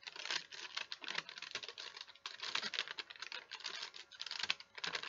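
A thin, folded sheet of wax paper is held in both hands while the fingers crinkle and fold it. The result is dense, bright, papery crackling with almost no low end, running nearly continuously with brief lulls around the midpoint and near the end.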